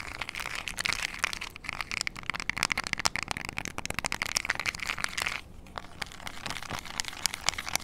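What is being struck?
Small plastic remote control with rubber buttons.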